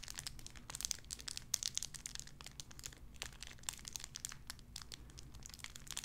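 A small clear plastic bag wrapped around a tiny white figurine is crinkled and squeezed between fingertips with long red nails. Dense, bright crackling and sharp snapping crinkles run throughout over a faint, steady low hum.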